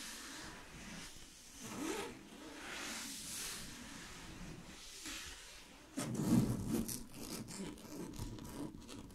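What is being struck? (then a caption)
Synthetic satin fabric sheet scratched by fingernails. Long glittery fingernails scratch a large sheet of shiny blue synthetic satin fabric lying flat. Soft, slow rubbing strokes swell and fade for about six seconds, then the scratching turns abruptly louder and quicker, with a brighter, raspy texture to the end.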